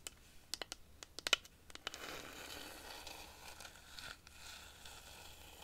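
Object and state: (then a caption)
Cactus wood rainstick. Long nails tap and scratch the spiny, ridged wood of a long, hollow dried-cactus rainstick with a striped yarn band, held upright. A quick run of sharp, bright clicks gives way to a steady, hissing scratch and rustle with a few faint taps.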